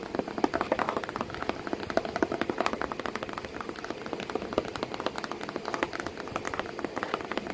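Long painted nails rapidly tap and scratch the flat side or flap of a hollow corrugated cardboard box packed with crumpled kraft paper, with a cat sitting inside. The sound is a dense stream of short, dry, papery clicks and scrapes, centered in the low mids with little bass and only faint brightness. Each tap dies almost instantly, with no ring.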